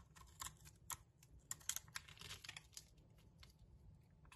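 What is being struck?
Solid soap bar scraped with a metal blade.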